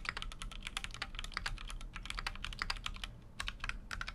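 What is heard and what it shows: Fingertips type continuously on a full-size Keychron Q6 mechanical keyboard with an aluminum case and plastic keycaps. A rapid, steady stream of short, sharp clacks centered around 2 kHz with bright high edges, each dying away almost instantly. The clacks sit over a constant low rumble.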